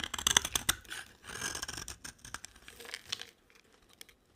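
A utility knife blade scrapes and carves the surface of a solid, dry, cream-colored soap bar. Crisp, bright scraping and crackling comes in uneven bursts with sharp clicks, strongest in the first half. It thins to a few faint ticks and then near silence.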